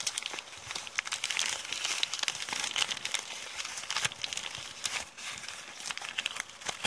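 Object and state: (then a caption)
Crumpled kraft paper bag. Long painted nails scratch and crumple a crumpled sheet of thin brown kraft paper bag that is partly torn. The sound is a dense, steady run of bright, crisp crinkles and sharp crackles, nearly all high-pitched with almost no low end. Each crackle dies away almost instantly.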